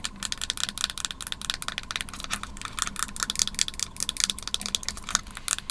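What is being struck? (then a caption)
Plastic and aluminum computer mouse. Long nails tap rapidly on the plastic shell and aluminum base of a small white Magic Mouse held above a wooden table. The result is a quick, irregular stream of dry, bright clicks that stop instantly with no ring, over a faint low hum.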